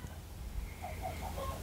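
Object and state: Nothing is struck.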